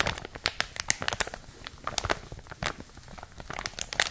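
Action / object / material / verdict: scrape / thin plastic packaging bag / plastic / none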